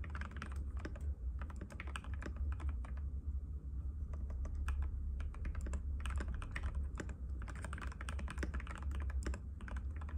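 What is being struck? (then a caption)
Plastic mechanical keyboard. Fingertips of both hands type rapidly and continuously on a compact cream-white mechanical keyboard with plastic keycaps and a hollow case, resting on a glass table. Dense, crisp clacks ring out over a steady low hum, with short pauses between bursts.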